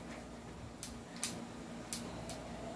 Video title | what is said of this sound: Review N Unbox of Glock 17 Gen 5 & SR4 | Hindi kumakalog kasi ito upgraded.